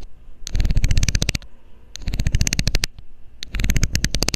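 A loose, hollow blue plastic screw cap is held in the fingers over the mic while a metal needle scrapes its ridged edge. Three bursts of rapid, crisp ticking ring out, each tick short with a bright top over a heavy, close low thump, separated by brief pauses of quiet rumble.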